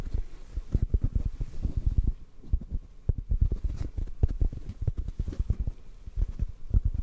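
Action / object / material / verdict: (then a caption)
tap / foam microphone windscreen / foam / none. Fingertips tap a hollow black foam windscreen held above a microphone, producing a rapid, uneven run of soft, muffled low thumps. The taps are dull and deep, with almost no bright content and no ring after each one.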